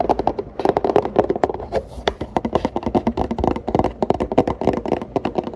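Fingers tap rapidly on an empty Planet Oat oat milk paperboard carton, producing a steady stream of short, dry, hollow taps. The taps are midrange, with a pitch around 420 Hz, and stop almost instantly with no ring.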